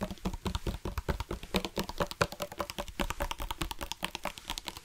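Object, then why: Hard-plastic water bottle. A black hard-plastic sports water bottle with a flip-top cap, hollow and partly filled with water, is held in both hands and tapped rapidly with fingertips and nails. The result is a quick, continuous patter of dry, clicky taps with a hollow tone around 580 Hz and a dull low thump beneath. Each tap dies away almost instantly.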